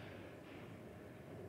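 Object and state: Nothing is struck.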